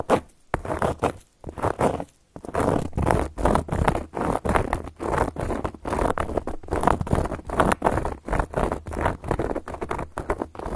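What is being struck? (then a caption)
Cork board scratched with metal nail caps. Long gold metal claw nail caps scratch fast across a solid, round, flat cork board. The result is a quick, uneven run of short, dry, scratchy strokes, mostly in the middle range, with a steady low hum underneath and almost no bright edge.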